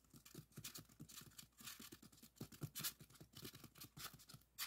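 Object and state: Styrofoam block.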